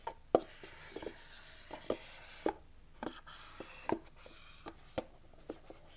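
Fingertips and short nails tap and scratch the lid and sides of a small, white, rigid cardboard iPhone 11 box with a lid, held in both hands. About nine short, dry, hollow knocks with a midrange tone die away almost instantly. Faint scratchy rubbing fills the gaps between them.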